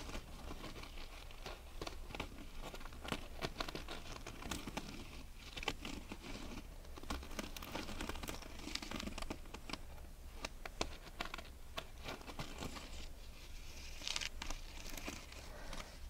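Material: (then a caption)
Sequins. A pair of small grey sequinned canvas sneakers is held together while long red nails scratch and rub the sequin uppers. This produces a steady, dense patter of crinkly, bright scratching and clicking under a low hum. The many quick, overlapping taps never ring out.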